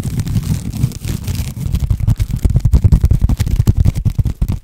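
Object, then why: Woven jute rope-covered cylinder. A long cylinder covered in woven jute or sisal rope, held horizontally, is scratched and rubbed with the fingernails of both hands. The result is a fast, irregular run of dull, low, rough scraping bursts, smoother at first and then breaking into quick, choppy strokes.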